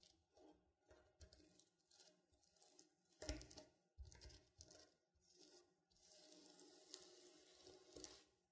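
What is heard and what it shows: Fingernails pick at and scratch individual sequins on a reversible sequin pillow with a silver sequin drawing, flipping them over. Short bright, crackly scratching bursts come one after another, then a longer steady rasp as the sequins are brushed continuously near the end.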